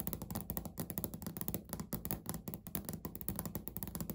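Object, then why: Laminate countertop. Fingernails scratch and tap quickly on a flat, solid, speckled beige laminate countertop. The quiet, rapid clicks and dull knocks have a low, woody body around 195 Hz and die away almost instantly, with a faint bright tick on each hit.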